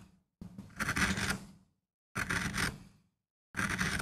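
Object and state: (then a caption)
MDF relief printing block being carved. A steel carving gouge in a wooden handle scrapes and cuts grooves into a small, flat, solid MDF relief printing block with a rose design, held in place by fingertips. Three rough, gritty scraping strokes are heard, each swelling to a bright rasp and then thinning out, separated by brief silences.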